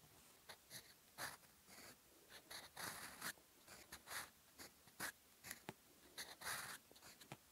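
A gold fountain pen nib scratches across a flat sheet of lined cream paper in a notebook on a desk, writing Korean text in black ink. Short, bright scratching strokes come in quick bursts with brief pauses, a dry rasp with no low end.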